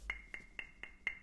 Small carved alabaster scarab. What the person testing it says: it's just kind of a rock, right?